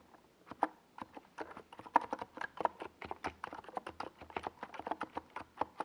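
Fingertips type continuously on a small 68-key NiZ Plum Atom 68 mechanical keyboard with a white plastic case and purple and yellow plastic Domikey Gas Attack SA keycaps, resting on a desk pad. About 28 quick, dry plastic clacks come in an uneven rhythm, each centered around 945 Hz and dying out almost instantly.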